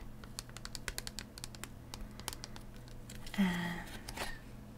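Long decorated nails tap quickly on a hollow clear plastic blister shell over an Astral Radiance Pokemon card and booster packs on a cardboard backing, held close up in the hands. The taps are light, sharp clicks over a steady low hum, with a louder, brief scraping rush near the end before the tapping resumes softly.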